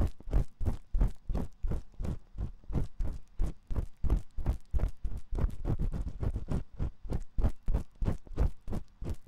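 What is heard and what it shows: A metal ear pick scrapes inside the canal of a dim white silicone ear on a 3Dio binaural microphone. It makes a quick, loosely rhythmic string of deep, muffled scratching strokes, about three per second. Each stroke is a short, bass-heavy thump that dies away almost at once.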